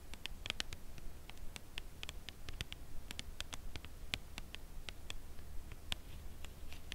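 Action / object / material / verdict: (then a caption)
tap / cardboard chocolate bar box / cardboard / none. Long nails tap the face and edge of a full Lindt Caramel cardboard box held upright at an angle. Quick, dry, bright clicks land at an irregular, unhurried pace, each dying away almost instantly, over a steady low hum.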